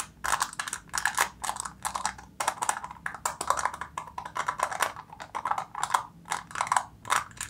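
Long nails tap rapidly on a silver foil seal stretched over the mouth of a plastic jar. Quick bursts of crisp, dry, crinkly clicks centre around 1 kHz with bright edges, broken by brief pauses. Each tap dies away almost instantly.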